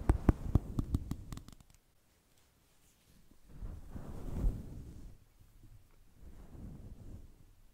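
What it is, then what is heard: Faux fur microphone windscreen being combed. A thin black plastic comb scratches and combs a fluffy grey-white synthetic fur microphone windscreen, with both hands holding the fur while the comb scratches its side. It opens with a quick burst of about ten sharp, scratchy strokes, then near silence. Low, muffled rubbing swells rise and fade twice.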